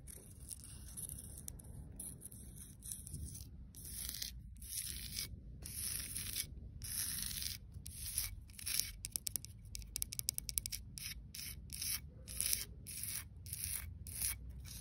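Long dark-red nails and fingertips scratch and rub across a solid grey cast-concrete paving slab with a raised floral relief. Bright, gritty rasping strokes come in quick bursts with brief gaps, over a steady low rumble.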